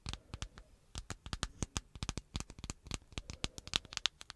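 Long acrylic nails tap and scratch the hard flat glass-and-plastic body of a black handheld smartphone held behind the microphone. Dense, irregular bursts of short, dry clicks sound, each bright and sharp with almost no ring, mixed with brief scratchy scrapes.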